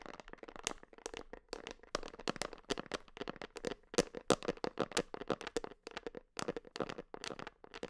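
Long nails tap and scratch the white screw lid and side of a medium red plastic creatine supplement tub, apparently filled with powder and held in one hand. Rapid, irregular dry clicks and brief scratchy scrapes follow one another with almost no ring, carrying a hollow plastic tone around 560 Hz with bright edges on the sharper taps.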